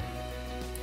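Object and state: Nothing is struck.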